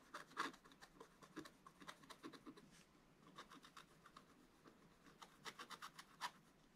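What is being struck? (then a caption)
Wax-coated scratch-art paper scratched with a wooden stick. A wooden stick scratches the black coating of a wax-coated scratch-art paper page in a spiral scratch-art book, held flat by one hand. Quiet, dry, bright scratching strokes come in quick irregular bursts, each short and scratchy with little low end and almost no ring.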